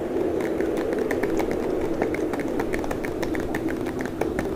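Fingernails of both hands quickly tap and scratch on the front of a clear, hard plastic clamshell blister pack holding a red portable speaker on a card with a Mickey Mouse print, small enough to hold in the hand. A steady run of sharp, light clicks rides over a constant low-mid hiss, and the taps stay level and close together throughout.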